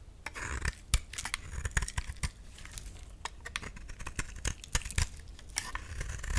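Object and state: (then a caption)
Bar of soap being shaved. A utility knife shaves a solid cream-white bar of soap, sending crumbly chunks falling off. Quick, crisp scraping and crunching strokes repeat throughout with bright, dry edges and soft low thumps as pieces break away.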